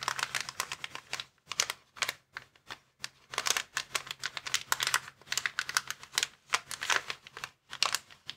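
Fingertips scratch and tap the surface of a clear plastic air column cushion bag lying flat. Quick bursts of bright, crisp crinkling and tapping come in dense clusters separated by brief silences. Each sound is short and dry, with no low rumble.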